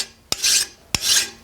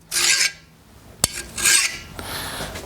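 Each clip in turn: First: Two file strokes rasp coarsely into a steel chisel, biting rather than skating: the steel is soft. Second: Thin, hissy file strokes glide across steel, so the file skates over the chisel's hardened edge.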